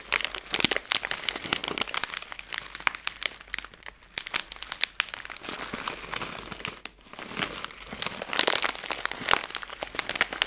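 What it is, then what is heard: Plastic candy bag. A Skittles candy bag made of plastic film is squeezed, crumpled, then smoothed out with fingers and long nails. The result is dense, bright crinkling and sharp crackles with almost no low end, easing into softer rustling around the middle before swelling again.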